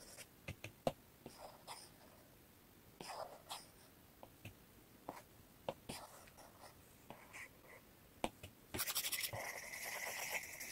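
A plastic stylus tip taps and scratches across the glass screen of an iPad in a blue case resting on a wooden table. The result is a run of quiet, irregular clicks and short, bright scraping strokes. Near the end comes a denser, hissy stretch of rapid scratching.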